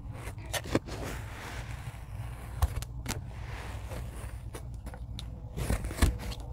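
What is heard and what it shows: A rocker blade with a grey handle presses and cuts into a tray of kinetic sand, producing soft, crumbly crunches and gritty scrapes over a steady low rumble. A few sharper, brighter cuts stand out briefly above the quiet, continuous texture.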